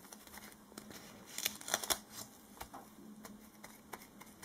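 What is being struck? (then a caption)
Strip of duct tape rubbed with latex-gloved fingers. Fingertips in disposable latex gloves rub a short, flat strip of black duct tape held between the hands and press it down, making sticky contact, while a tape roll sits idle nearby. The result is quiet, irregular, bright crackling ticks and soft peeling snaps, with a louder cluster in the middle. Faint glove rubbing may add to the sound.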